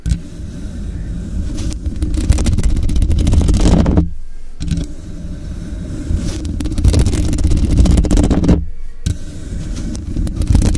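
Long pink acrylic nails and fingertips scratch and tap the hollow metal body and mesh grille edge of a large dark-grey Blue Yeti USB microphone lying on its side. The result is a dense, low, rumbling scraping with rapid tapping, loud and close, broken by two brief pauses at about 4 and 8.7 seconds.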